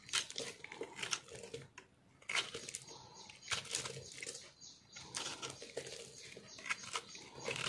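A solid green soap bar with white flecks is held in the hand while a metal knife scrapes and carves it, breaking off dry, crunchy shards. Bright, crackling scrapes come in repeated bursts with short pauses between them.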